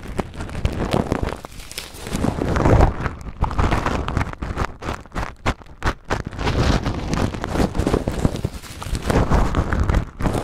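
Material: Acrylic plastic.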